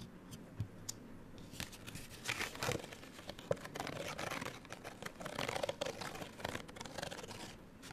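A small printed paper card hang tag, folded open and held in both hands, has its surface scratched with long nails. The result is a quiet run of dry, bright rasping and crinkly scraping strokes, dotted with sharp little ticks.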